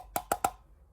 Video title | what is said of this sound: Nancy Drew Files #107: Anything for Love - Book Review | it's Hollow can you hear it it's not a solid base